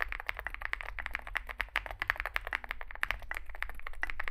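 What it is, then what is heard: Mechanical keyboard typing. Two hands type fast with their fingertips on a Zoom65 65% mechanical keyboard resting on a desk mat. It has a dark case, likely aluminum, white and grey SA-profile plastic keycaps, and lubed switches. The result is a rapid, continuous stream of short, dry key taps centered around 1.8 kHz with bright clicky edges, over a steady low background rumble.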